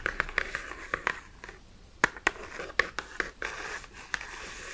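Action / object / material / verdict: tap / cardboard box tapped and scratched with fingernails / cardboard / none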